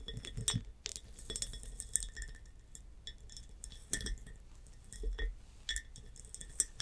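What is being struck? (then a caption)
Textured glass jar with metal lid. Long nails tap and scratch the bumpy surface of a tall, textured hobnail glass jar that has a metal clasp lid and is filled with blue water beads. Quick, bright glassy clinks and ticks are scattered through the clip over a scratchy rustle and a low background hum.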